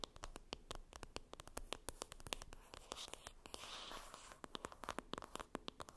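Long red nails rapidly tap and scratch the printed cardboard lid of a flat rectangular Benefit Cheery Cheeks blush palette lying on a fluffy surface. The sound is a quiet, dry run of sharp clicks with a stretch of continuous rustly scratching in the middle, and no ring after each hit.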